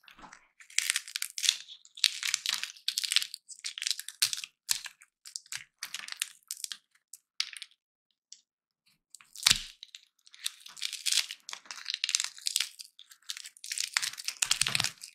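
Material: Peanut shell.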